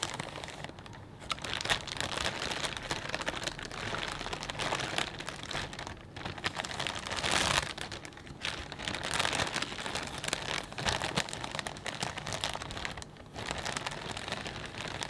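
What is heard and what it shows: A clear plastic bag full of potato chips is held and squeezed while fingertips rub and crinkle it. The result is a steady, dense stream of bright, crackly crinkling with brief quieter dips, rich in high frequencies and light in low end.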